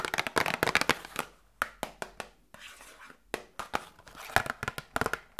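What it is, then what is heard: Cardboard medicine box. A small, hollow cardboard Grippostad medicine box is tapped with long nails and fingertips. Quick bursts of sharp, dry clicks and hollow taps are separated by short pauses, with bright attacks that die away almost instantly. A faint crinkling texture sits between the taps.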